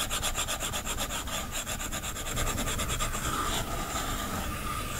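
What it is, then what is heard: Stylus rubbing on a glass tablet screen. A plastic stylus tip rubs quickly back and forth over the glass screen of a large iPad lying flat while shading, with the left hand resting at the bottom edge. This produces a fast, steady, rasping scratch with a bright, hissy texture, regular for the first few seconds and then settling into a smoother continuous rub.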